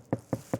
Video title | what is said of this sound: From Stock to Stunning: Mercedes C-Class Audio Upgrade | completely deadened I mean that is a massive massive difference